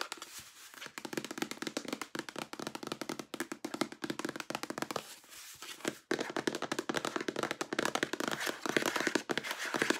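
A large white plastic body lotion bottle with a pump, hollow and apparently fairly full, is held in both hands and tapped rapidly with long acrylic nails. The taps are short, dry, clicky knocks with almost no ring, coming in quick bursts with a brief quieter pause around the middle before the tapping picks up again more loudly.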